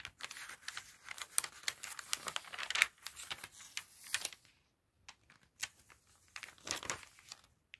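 Fingertips and a cotton glove grip and flip the pages of an open glossy paper magazine near the binding, making a bright, dry crinkling and rustling. Quick papery crackles tumble together over the first four and a half seconds, then a short silence, then more scattered crinkles and page flips to the end.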